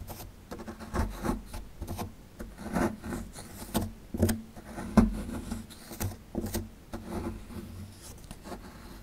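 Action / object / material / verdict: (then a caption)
scrape / plaster excavation block / plaster / none. A small solid plaster excavation block held in the hand is scraped with a metal pick tool. The result is a series of short, dry, gritty scrapes and picks at an irregular pace, with a muffled low body, a faint hum near 227 Hz and quiet pauses between strokes.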